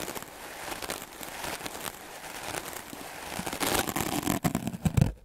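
A solid white rectangular melamine foam (magic eraser) sponge, held by fingertips, is brushed fast and hard with a wooden-backed clothes brush with dense black bristles. The result is a steady, dense scratchy rustle of rapid strokes that grows louder and more forceful toward the end, with a few sharp low scrapes before it cuts off.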